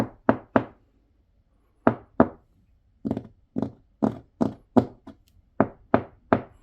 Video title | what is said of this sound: 2만명 일본인이 집안에서 얼어죽는 충격적인 이유 "실제 일본 가정집 영상 공개" (신작가, 호사카 유지, 이명찬 / 일본 특집) | 통통 소리가 납니다. 안이 텅 비어 있는 그러한 느낌이 납니다.